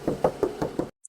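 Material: Sheet steel.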